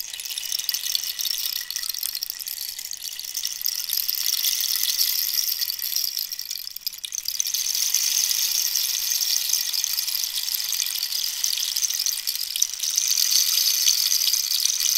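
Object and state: Cactus rainstick being tilted.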